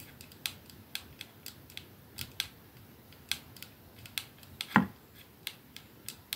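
A 212 capsule glass perfume bottle with a silver band is held in one palm while the nails of the holding hand tap rapidly on it. About 19 short, bright clicks with almost no ring are heard, one stronger knock near the end sounding fuller with a low body.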